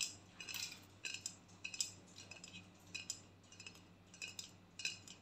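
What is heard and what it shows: A hollow aluminium aerosol body spray can, held sideways in both hands, is tapped and clicked with long painted nails. The result is an irregular series of quiet, bright, tinny clicks and taps with very short ring, over a faint low hum.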